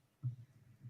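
A wooden desk is knocked on for luck, to avoid a jinx, producing a single dull, low thump with almost all of its energy in the deep low end. The knock fades quickly, leaving a faint low rumble and a softer bump near the end.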